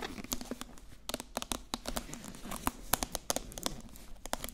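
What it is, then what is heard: Hardcover book with foil cover, nail-tapped. Long acrylic nails tap rapidly on the glossy silver foil cover of a solid, medium hardcover book held upright. The result is a quick, uneven stream of sharp, dry clicks with a faint crinkly texture, each dying away almost instantly.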